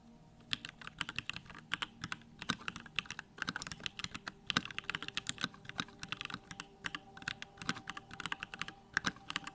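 A compact 65% mechanical keyboard, a Bakeneko65 with Durock lavender switches, pink plastic keycaps and a grey case, is typed on steadily by fingertips. Many quick, sharp, bright clicks and clacks come in uneven bursts with short pauses over a faint low hum, each keystroke dying away almost instantly.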